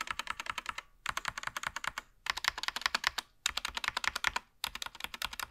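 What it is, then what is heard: Plastic mechanical keyboard. A SteelSeries Apex Pro TKL mechanical gaming keyboard with plastic keycaps and an attached wrist rest lies flat while one gloved hand types on it with its fingertips across different areas of the board. Quick, bright, clicky keystrokes come in five rapid runs separated by short pauses, each press dry and clipped with almost no low end or ring.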